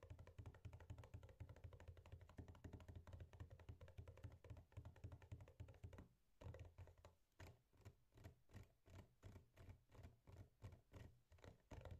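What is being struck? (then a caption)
Cardboard box of hard turrón. A closed, apparently full, flat rectangular printed cardboard box of hard turrón lying on a wooden table is tapped rapidly with the fingertips and nails of both hands. For about six seconds the taps blur into a dense, dull drumming of low hollow thuds; after a brief pause they slow into distinct, evenly spaced soft knocks with very short ring.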